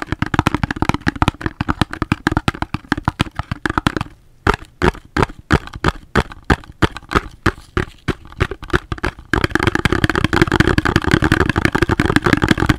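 Fingers tap on a cardboard soap box, making short, dry, hollow knocks with a low thump and almost no ring. A fast, dense flurry of taps gives way after a brief pause to slower, evenly spaced knocks. Then quick, busy tapping resumes to the end.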